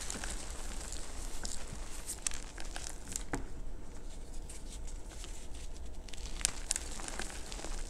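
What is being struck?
Block of pressed gym chalk.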